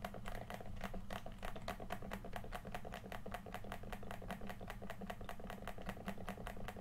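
Fingertips rapidly tap and click the face buttons and d-pad of a hollow red plastic PS4 controller held in both hands. The result is a quiet, steady stream of short, dry plastic clicks with bright edges over a constant low hum and a faint steady tone near 700 Hz.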